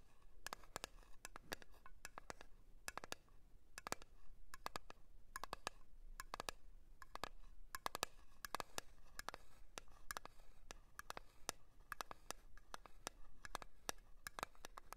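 A small round blue metal Nivea cream tin is held in one hand while long nails of the other hand tap and scratch its lid. Quick, sharp metallic taps with a short bright ring come in an irregular stream over a soft scratching hiss. The taps stay fairly quiet and close throughout.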